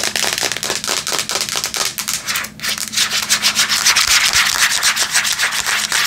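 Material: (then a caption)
Metal. Long nails scratch and tap the back of a flat Samsung tablet with a metal/plastic casing held in both hands. The result is a bright, hissy scraping broken by quick irregular taps that grow denser and louder toward the end.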